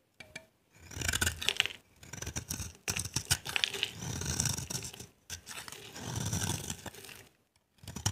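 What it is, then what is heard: Dry soap bar scraped with a blade. A dry, solid green bar of soap is held in the hand and carved with a utility knife blade, scraping off dry, crumbly flakes. Bright, crackly scratching comes in several bursts separated by brief pauses, with a soft low rumble underneath.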